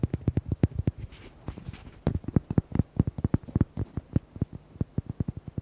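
Fingernails tap and scratch the front and side of a red, hollow rubber duck toy decorated with white hearts. Roughly thirty quick, dull taps land in a fast, uneven run, each a short, low, hollow knock with almost no ring. A brief patch of faint, brighter scratching rasp sits among them.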